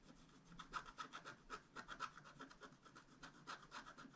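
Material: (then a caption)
Coated paper. A wooden stylus scratches short strokes into the coating of a flat black-coated scratch-art card held steady by one hand. About seventeen quick, dry, rasping scrapes come at roughly four per second with a bright, papery hiss and a mid-pitched edge near 1.3 kHz.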